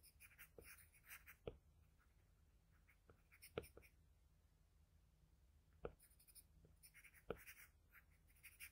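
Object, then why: Graphite pencil on drawing paper. The graphite tip of a wooden pencil makes small, bright scratching strokes on flat white drawing paper, shading near the cheek of a pencil portrait. Short bursts of scratching come and go over a faint low hum, broken by four sharper, louder ticks.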